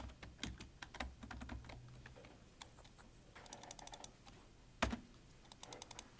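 Both hands type with their fingertips on a full-size black plastic computer keyboard with a hollow body, producing quick bursts of short, bright key taps over a soft low thump. The taps come in uneven clusters with brief pauses, and one sharper, louder tap stands out near the end.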